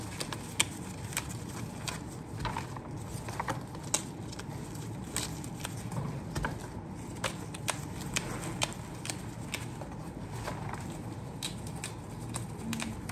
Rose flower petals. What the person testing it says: Diba ang lutong? Simbolo yan na preskong roses.